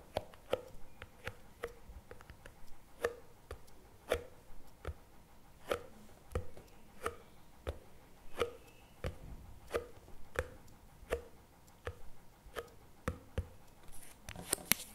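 Fingertips tap the plastic lid and rim of a CremaNovi paperboard chocolate spread tub resting on a table. About 21 short, dry, hollow taps land at an irregular, unhurried pace, each dying away almost instantly. A brief bright rustle closes the clip.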